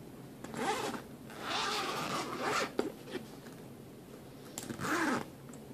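Fingers pull the metal zipper along the top edge of a black fabric suitcase, zipping it. Three raspy zipping runs are heard: a short one, a longer steady pull, and a final quick stretch. A few small clicks from the zipper sit between them over quiet background hiss.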